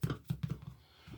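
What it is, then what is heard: Bread loaf sounding hollow, baked through. A freshly baked Augason Farms Honey Wheat Bread & Roll Mix whole wheat loaf, baked 40 minutes at 350°F and resting on a rack, is knocked several times. The knocks are short, low, hollow thuds that die away almost instantly. The hollow sound suggests the dense loaf is baked through, though that is not confirmed until it is cut.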